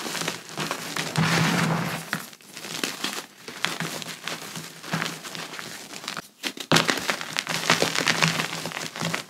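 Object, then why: Pressed gym chalk chunks. Both hands squeeze, rub and crumble solid pieces of reformed, pressed gym chalk into fine powder over a large white chalk pile, using fingers and palms. The result is a steady, bright, crunchy crumbling with dense crackles and brief softer pauses.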